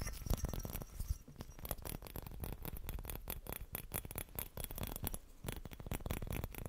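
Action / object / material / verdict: tap / small glass bauble with metal cap / glass / none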